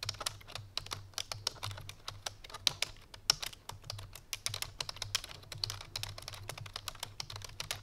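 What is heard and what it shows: Fingertips with long painted nails type rapidly on a full-size black plastic computer keyboard resting on a white fur rug. Quick, bright, clicky key taps come in a dense, uneven stream over a faint, steady low hum.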